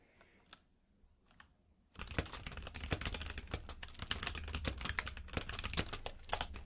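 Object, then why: Mechanical keyboard with plastic keycaps. Fingertips type on a compact mechanical keyboard with plastic keycaps. After about two seconds of near silence with a few faint isolated clicks, a fast, uneven stream of sharp, bright key clacks begins and continues to the end, with a low thud beneath each press.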